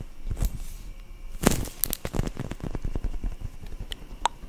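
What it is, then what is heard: Foam squishy toy tapped and scratched. Long nails tap and scratch the surface of a solid, soft, yellow-orange foam squishy bread toy held in both hands in front of the mic. Quiet, dull taps, mostly low in tone, mix with brief crackly scratches and a few sharp, bright clicks. Each sound dies away almost at once.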